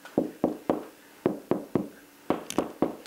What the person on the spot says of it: that sounds solid you're on a stud